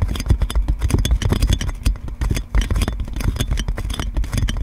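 Long nails scratch and tap on clear plastic cling film wrapped around a metal microphone. A dense stream of close crinkling and scraping with quick taps comes through, dominated by deep, boomy thumps with a faint bright crackle on top.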